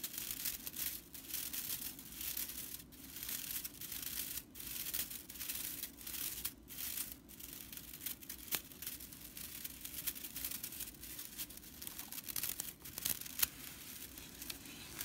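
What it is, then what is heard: Straw whisk broom bristles being scratched. Fingertips and long purple nails of both hands scratch and rub the dry straw bristles of a broomcorn straw whisk broom. The result is a steady, bright, dry crackling and rustling, like crinkling or tearing, with brief pauses and a few sharper snaps.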